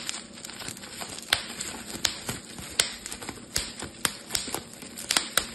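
A clear, thin, air-filled plastic bubble wrap sheet is held in both hands while thumbs and fingertips pinch and pop the bubbles. Sharp, bright pops ring out irregularly over a steady crinkling hiss of the plastic. Each pop snaps off almost instantly.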